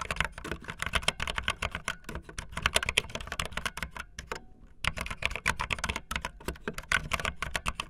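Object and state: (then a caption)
Plastic membrane keyboard typing. Fingertips and the tips of long painted nails type fast on a full-size, backlit plastic Bluetooth membrane keyboard with white and blue plastic keycaps and a hollow plastic body. A dense stream of short, bright, clacky taps with almost no ring carries a light low thump, with a brief lull just past the midpoint before the rapid typing resumes.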